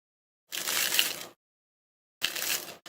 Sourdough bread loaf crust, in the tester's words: ขนมปังที่ได้ออกมากรอบมากมีเปลือกบางๆละเอียดอ่อนลองฟังเสียงกรุบกรอบดูสิ